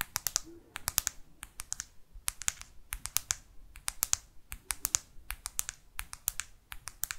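A black smartphone, held upright, has its matte plastic back cover tapped rapidly with long artificial nails. Dozens of sharp, dry, bright clicks come in quick bursts with tiny gaps between them. Each tap dies away almost instantly.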